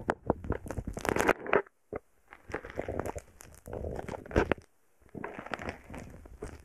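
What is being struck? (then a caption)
Foam bead slime poked with a wooden stick. A wooden stick repeatedly pokes and presses a small, heart-shaped lump of purple foam bead slime (floam), solid and soft, sitting on a microphone. Dense, beady crackles and crunchy pops come in bursts separated by brief silent pauses.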